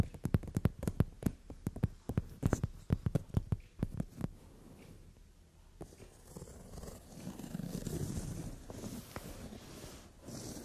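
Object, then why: Leather-covered sofa seat. Both hands with long nails rapidly tap and scratch the brown glossy leather seat of a sofa. Dense, sharp clicking taps fill the first four seconds. They give way to softer, low rubbing and scratching on the leather.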